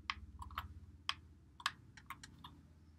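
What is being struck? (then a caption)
Plastic game controller. A white Xbox One controller with a hollow plastic body, held in both hands, has its buttons and thumbsticks pressed and clicked by fingertips. About nine short, dry, bright plastic clicks come at an irregular pace over a faint steady low hum. Each click stops almost instantly.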